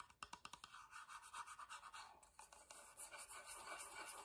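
A wooden box is tapped quietly with a rapid run of about 14 soft, dry clicks, followed by quieter scratching across its surface. The sound is thin and bright, with almost no low end and no ringing after each tap.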